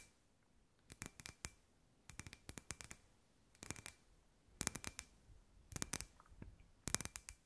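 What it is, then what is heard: Glass ball lamp. Long white nails tap quickly on a hand-sized hollow clear glass ball lamp with fairy lights inside. The taps come as six short bursts of sharp, bright clicks, each dying away almost at once, with a faint glassy tone under the bursts and quiet pauses between them.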